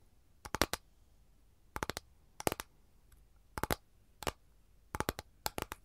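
Long gold nails tap and scratch on an empty, flat capiz shell tray with a lemon pattern, making quick, dry, bright clicks in short clusters of three or four. Each click dies away almost at once, leaving quiet gaps between the bursts.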